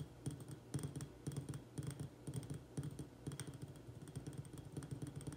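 Fingertips and nails tap fast on the sides of a small white glazed ceramic urn-shaped pot filled with soil and an echeveria succulent, held in both hands. The result is rapid, uneven bursts of tapping with low, dull thuds under bright, crisp nail clicks that die away quickly.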